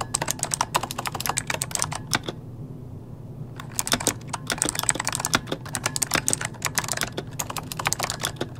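Both hands type rapidly with the fingertips on an RGB-lit plastic mechanical computer keyboard resting on a desk, its solid body housing hollow key switches. Sharp, bright clacks come in dense bursts over a steady low hum, and a brief pause near the middle lets the hum stand alone before the typing resumes.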